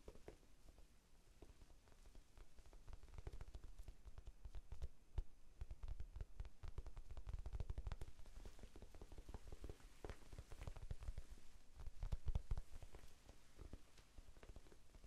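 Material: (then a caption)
Foam. A small rectangular pink foam sponge, soft and solid, is held in both hands and tapped with the fingertips. The result is a steady, rapid patter of muffled, low thuds that die away almost instantly and run throughout the clip, growing slightly busier toward the end.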